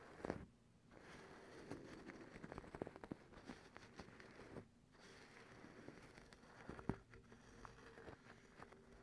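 Long pink acrylic nails scratch a soft, folded white cotton terry towel, making quiet, continuous rustling and scratching with scattered sharper crackly ticks. The scratching briefly drops away twice before resuming at a low, steady level.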